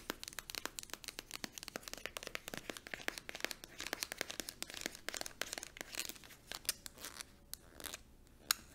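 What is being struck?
Squeezable plastic cream tube.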